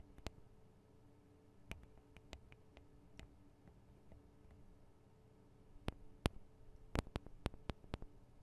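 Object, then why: Metal and plastic microphone capsules on a handheld recorder. Long acrylic nails tap on the metal and plastic microphone capsules of a Tascam DR-40 recorder, with fingers gripping near the capsules. Sharp, dry clicks with almost no ring come sparsely at first, then cluster more densely and loudly near the end. A steady low, quiet background runs underneath throughout.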